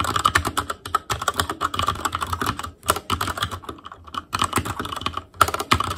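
Fingertips type continuously on an Asus Claymore Core, a backlit mechanical keyboard with plastic keycaps. Rapid, dry clacks come in quick bursts with brief pauses, each keystroke short with almost no ring. The clicks carry a bright, plastic tone centered around 1.3 kHz over a light low thump.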